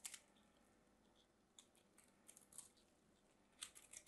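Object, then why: Bar of soap. A small craft knife carves thin slices off a solid pink soap bar held in the fingertips. Quiet, crisp, bright scraping clicks come in short bursts, with faint hiss between the cuts and almost no low end.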